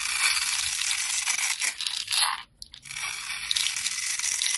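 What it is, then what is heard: Bar soap being scraped. A metal blade cross-hatches and scrapes a solid pale-green bar of soap held in the hand, cutting it into small crunchy soap cubes. A steady, bright, crackling crunch with no low end runs throughout, dropping out briefly just past halfway before the scraping picks up again.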